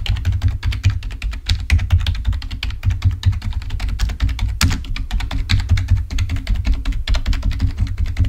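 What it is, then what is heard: Plastic computer keyboard. Fingertips type rapidly on a full-size black plastic Microsoft keyboard resting on a table. The result is a dense, continuous stream of short, dry key clicks and taps with a heavy low thump under each stroke and faint bright clatter on top.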